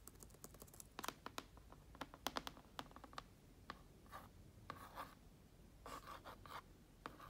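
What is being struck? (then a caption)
Plastic laptop lid with vinyl stickers. Long nails scratch and tap around a TOMS sticker and a red logo sticker on a black plastic laptop lid covered with vinyl stickers. Sharp, quick taps mix with short, breathy scratching strokes, and each sound dies away almost instantly. The taps come in an irregular scatter, with brief scratchy swishes in the later half.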